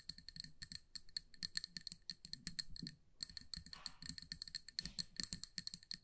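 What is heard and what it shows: Long nails tap quickly around a small amber glass candle jar filled with wax, making a steady run of sharp, bright clicks. Each tap is short with almost no ring and a faint low thump beneath it. The tapping pauses briefly near the middle, then resumes at the same pace.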